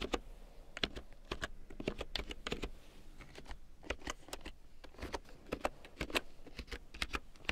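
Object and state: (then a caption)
Plastic keyboard being typed on. A full-size large-print keyboard with a black plastic frame and big yellow plastic keycaps, lying on faux fur, is typed on with long painted nails and fingertips. A quiet, steady run of short, sharp plastic taps and clicks comes in uneven bursts, each bright and dying away almost at once over a soft low hum.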